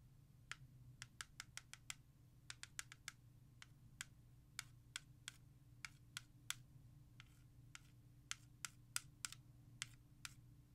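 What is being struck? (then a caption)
Plastic CD jewel case. Long nails and fingertips tap fast on the back of a hollow plastic CD jewel case held in hand and trace along its track list. About 29 sharp, bright clicks land in quick irregular bursts, each dying away almost instantly, over a steady low hum.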